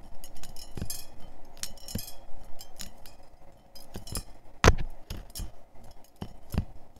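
Fingers grip and flick the thin, springy metal wires of a handheld scalp massager with small bead tips, which lies open and hollow on a checkered tablecloth, so the wires clink against each other. The result is an irregular run of short, dry metallic clinks and ticks with soft low thumps beneath, and one sharper, louder snap partway through.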